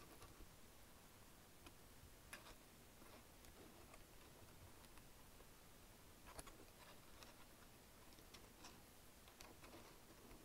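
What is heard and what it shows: Fingertips lightly type on the keys of a black plastic chiclet wireless keyboard, producing soft, bright ticking clicks scattered irregularly through the clip. The clicks sit quietly over a steady low background hum.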